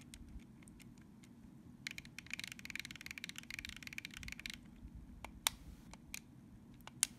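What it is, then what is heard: Plastic game controller. Fingertips tap and press the plastic buttons and thumbsticks of a hollow, handheld-size purple plastic Nintendo Switch GameCube-style controller lying on a soft blanket. Scattered sharp, bright clicks give way to a dense run of rapid clicking in the middle, then a few more crisp ticks over a faint low rumble.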